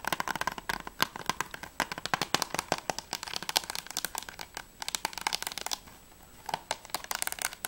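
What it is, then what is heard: Plastic game case tapped with fingernails. Long nails tap quickly on the back cover and top edge of a closed, hollow plastic PS3 game case for The Walking Dead. The sound is a dense run of sharp, bright, clicky taps with a hollow plastic tone and almost no low end. The tapping pauses briefly just before the six-second mark, then resumes.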